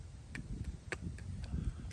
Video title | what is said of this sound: Gigante Island’s…Se San Resort Tour !! Philippines… Subscribe & Like ! | it sounds pretty uh pretty darn thick